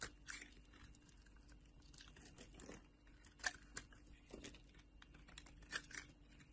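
A metal knife blade held at the edge of a solid orange soap bar shaves off thick, layered flakes. The result is quiet, irregular crunchy scraping and crinkling, with brief bright crackles over a soft, steady hiss.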